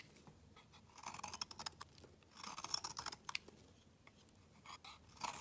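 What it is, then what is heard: Soap bar scraped with a blade. A metal utility knife blade scrapes a solid black round bar of soap, shaving off fine curls. Quiet, dry, crisp scraping strokes come in short bursts of bright, hissy friction with almost no low end, separated by brief near-silent pauses.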